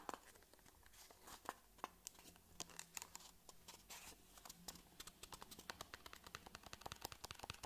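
A small, hollow white cardboard box is held in the hands and tapped and scratched with fingernails. Quiet, dry, sharp taps fall in an uneven rapid stream, mixed with bright scratchy rustling. Each tap dies away almost instantly over a faint low hum.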